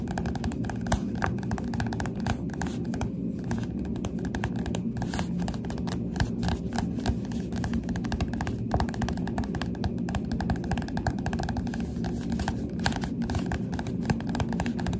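Fingertips of both hands tap rapidly and steadily on the glossy cover of a Goosebumps paperback book held upright. The taps are soft, dull and muffled, heavy in the low range with almost no bright edge, each dying away almost instantly. They blur into a continuous patter for the whole clip.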